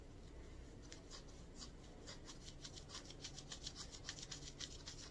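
Long purple nails scratch and rub a worn mustard ribbed knit cotton short-sleeve shirt at the chest and sides. Quiet, bright scratchy strokes come about three times a second at an uneven pace, growing a little stronger toward the end over a steady low background rumble.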